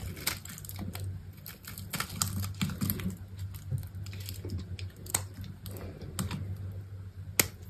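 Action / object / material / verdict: scrape / bar soap carved with a metal blade / soap / none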